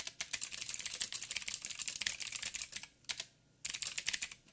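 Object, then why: Mechanical keyboard with plastic keycaps. Fingertips of both hands type rapidly on a backlit mechanical keyboard with black plastic keycaps on a silver frame and a hollow housing. The result is a dense run of bright, crisp clicks with almost no low end and very short ring. There is a brief near-silent pause before the typing resumes.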